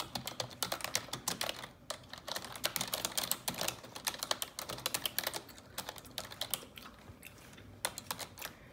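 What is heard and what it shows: Fingers with long neon-yellow acrylic nails type on a black plastic desktop computer keyboard with hollow keys. Rapid, bright, sharp clicks and clacks come in uneven bursts, each tap dying away almost instantly, with brief pauses between runs of typing.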